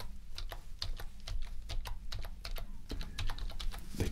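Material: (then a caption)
Plastic. Gloved index fingertips press and tap the hollow keys of a full-size black plastic HP computer keyboard lying flat on a desk in a typing motion. The result is a steady run of quick, dry, hollow clicks with almost no ring, over a low, constant hum.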